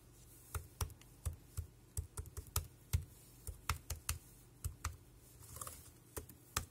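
Fingertips type on the round keys of a dark grey plastic Bluetooth wireless keyboard with a hollow body, close up. Around twenty short, irregularly spaced keystrokes each give a hollow, low thock with a bright click on top, dying away almost instantly over a quiet background.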